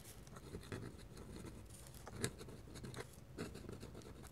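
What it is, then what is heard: Paper drawing sheet scratched by a pen nib. A metal pen nib held in the fingertips scratches hatching lines across a flat white paper drawing sheet. Quiet, dry scratching strokes run continuously, with a few slightly louder scrapes standing out.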